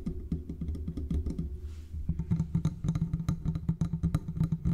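A large silver condenser microphone with a hollow metal body is gripped and tapped along its sides with the fingertips of both hands. The result is a rapid, uneven stream of dull, low-pitched clicks and knocks that stop short with almost no ring, plus a brief soft hiss partway through.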